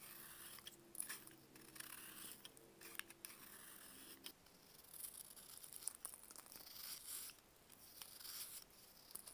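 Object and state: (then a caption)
Dried baking soda block being carved. A box-cutter blade carves into a solid, dried block of baking soda, making quiet, bright, gritty scraping and crunching strokes as pieces crumble off. A faint low steady hum sits underneath for the first four seconds, then fades out.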